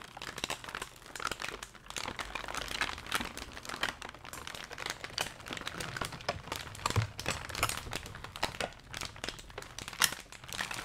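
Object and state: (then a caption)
Kraft packing paper. A large sheet of brown kraft packing paper, held in gloved hands, is crumpled and handled. A dense, continuous run of bright, dry crackles and crinkles goes on for about eleven seconds. Each crackle dies away almost instantly, with occasional louder crunches.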